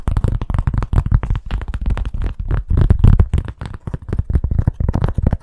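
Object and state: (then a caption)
Cork stand, deep dull taps. Fingers tap rapidly on a cork stand, making a fast, continuous run of short, dry, bassy thuds. Nearly all the sound sits low, around 80 Hz, with very little high end and almost no ring after each tap.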